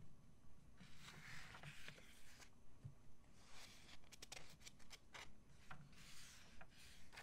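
A thin glossy paper crystal catalog lies open and flat on a wooden table. A page turns, then a flat palm and fingertips rub across the glossy page in steady, regular strokes. The result is soft, breathy swishes with brief bright scrapes.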